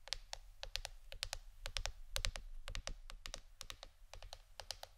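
Fingernails tap a plastic board shaped like a shirt for ASMR, making quick, uneven bursts of sharp, bright clicks with almost no ring. A steady low hum sits underneath the tapping throughout.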